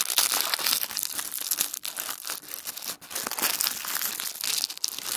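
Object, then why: Thin tissue paper sheet. A single thin sheet of tissue paper is rolled and crumpled into a tight wad by the fingertips of both hands on a wooden table. The result is a dense, continuous crinkling made of many tiny crackles, bright and high with almost no low end, briefly dropping quieter just before the 2- and 3-second marks.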